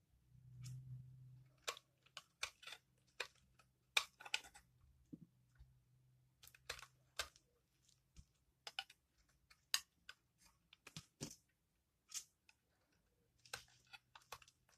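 A metal blade repeatedly scrapes and shaves thin curls from the edge and face of a hand-sized, solid, dry blue-and-orange bar of soap held in the fingertips, over a pile of soap shavings on a wooden table. Twenty-one short, dry, bright crackling scrapes come at irregular intervals over a faint low hum. Each scrape cuts off almost instantly with no ring.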